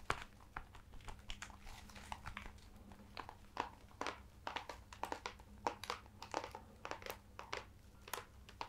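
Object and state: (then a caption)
Embossed leather-bound hardcover book. A large hardcover book with an ornate embossed leather-look cover and a lion crest is held upright in both hands while fingertips and nails tap and scratch its cover. Quick, dry taps and scratchy crinkles come in a steady, uneven stream over a faint low hum. The clicks are bright and die away almost instantly.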